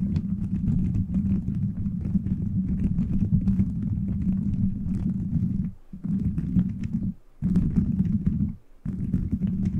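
Fingers scratch and rub a beaded plastic gummy-bear cover fitted over a microphone. The result is a dense, continuous scratchy rumble, mostly low with a steady hum near 200 Hz and faint bright crackles on top. It breaks off in three short pauses near the end.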